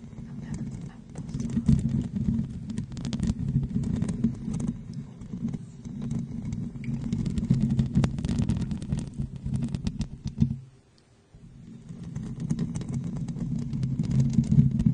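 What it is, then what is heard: Metal microphone grille. Long blue-painted nails scratch and tap across the top of a silver condenser microphone's rounded metal mesh grille, which has a hollow head and stands upright on a stand. The result is a dense, steady, low-heavy rustle of scratches and quick taps that briefly drops to near silence for about a second before resuming.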